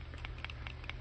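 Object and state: Knife fitting tightly in kydex sheath.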